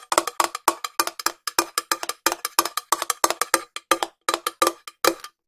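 Long nails tap the side and lid of a small, hollow, cylindrical silver metal tin held in one hand. The result is dozens of quick, dry, clicky taps in uneven fast and slower bursts, each with a bright, hollow tin ring near 1.1 kHz that dies away almost at once.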